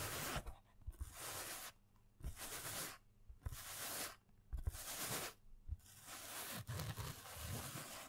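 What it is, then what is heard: Fabric pencil case scratched. Fingernails scratch across a black, padded and filled nylon fabric pencil case held in the hands. Repeated bursts of dry, bright rasping alternate with short pauses, with a soft low rustle beneath.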